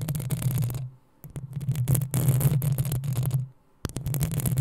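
Long acrylic nails of both hands scratch the hollow metal mesh head of a black desktop USB microphone, giving dense, rapid scraping and tapping over a deep low-frequency rumble with bright crackle on top. The scratching stops twice for brief near-silent gaps, then resumes.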